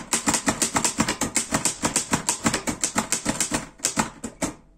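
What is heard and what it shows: A black metal Erika 5 portable typewriter is typed on with fingertips, giving a steady run of sharp, bright mechanical clacks with a low thunk at each keystroke. About 27 key strikes sound over nearly five seconds, slowing slightly near the end before stopping.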